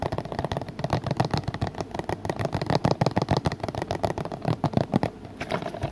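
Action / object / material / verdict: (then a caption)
tap / plastic DVD case / plastic / none. Fingertips tap rapidly and unevenly on the back cover of a hollow plastic DVD case with a printed paper insert, held up to show its back. The taps are dull, hollow and mostly low-pitched, each dying away almost at once, in a quick, irregular patter that runs throughout.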